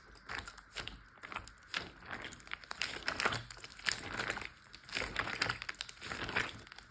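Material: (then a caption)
Plastic. Fingertips tap and fingernails scratch on a large, clear plastic Ziploc bag filled with water. The result is irregular bursts of bright, crinkly plastic rustling and scratching with very little low end, and each sound dies away almost instantly.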